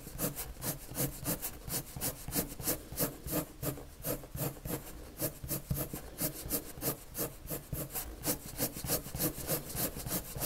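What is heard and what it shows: A red colored pencil rubs repeated strokes across a white paper sheet, making a steady rhythm of soft, scratchy rasps at about three strokes per second. Each stroke is a brief bright hiss with a light, low body, and the strokes continue evenly throughout.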